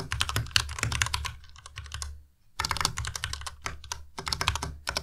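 Continuous fingertip typing with both hands on a white compact Ducky Miya Pro mechanical keyboard with plastic keycaps produces a rapid stream of short, bright clacks over a low thock. The typing pauses briefly near the middle before resuming at the same pace.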